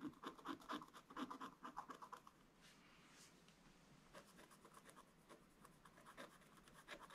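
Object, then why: Wax-coated scratch-art paper page scratched with a wooden stick. A wooden stick scratches long strokes across the coated dragon area of a wax-coated scratch-art paper page in a flat scratch-art book. Quick, rhythmic, raspy scrapes come first, then fade to softer, airy strokes with a faint hiss. Brisker scraping returns near the end.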